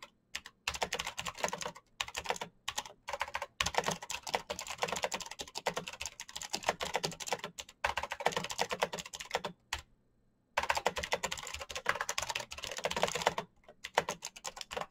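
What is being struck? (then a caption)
Plastic mechanical keyboard. Fingertips type fast and continuously on a black plastic mechanical keyboard, producing dense bursts of bright, sharp key clicks with brief pauses between runs. Typing stops for about a second near the ten-second mark, then resumes in another rapid flurry before a final short pause.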